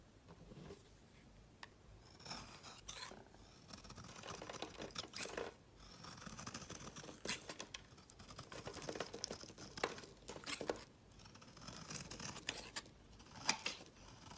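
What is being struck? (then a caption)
Bar of soap shaved by a blade. A utility knife shaves curls off a solid peach-orange branded bar of soap held in the hand. The clip is a quiet, continuous run of dry scraping and scratching strokes. Most of the energy sits in the high, bright range, and short sharp peaks stand out, the strongest near the end.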